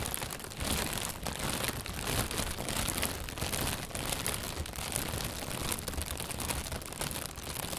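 An inflated, hollow white plastic bag, held from below, is squeezed and rustled with the hands. The result is a steady, dense crinkling and crunching rustle, with bright crackle on top and soft low thumps from the bag's hollow body, running continuously at an even level throughout.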